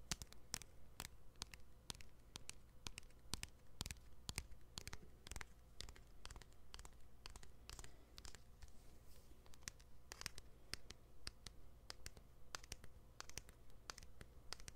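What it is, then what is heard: Plastic smartphone back tapped and scratched. Fingertips and nails tap and scratch the white plastic back of a thin, hand-sized smartphone held in both hands, back toward the mic. The result is quick, irregular, sharp clicks and scrapes, about two per second, over a steady low hum.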